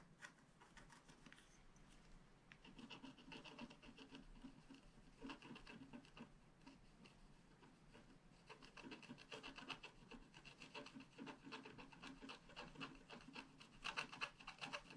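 A wooden stylus scratches near the bottom edge of a flat sheet of scratch art paper. It makes a quiet, dry, rasping scrape, with rapid, uneven bright strokes running continuously and growing slightly louder toward the end.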